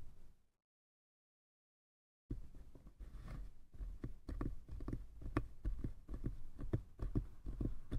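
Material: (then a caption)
Wood. Fingertips tap both sides of a small hollow wooden box. After a brief faint sound and about two seconds of silence, a steady run of quick, irregular taps begins; they are dull, low and hollow, with very little ring.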